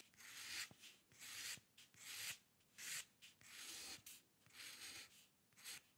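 A metal dip pen nib scratches across a sheet of white drawing paper in eight short, repeated strokes at an uneven rhythm. Each stroke is a quiet, dry, bright rasp, with almost no low end and faint clicks where the nib starts or lifts.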